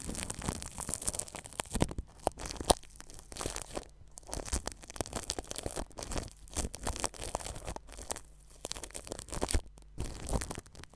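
A paintbrush brushes across plastic cling film stretched over a ball microphone's metal mesh grille. It makes dense, crackling crinkles and rustles in rapid bursts with a heavy low rumble underneath. A few brief quieter gaps break up the steady crinkling.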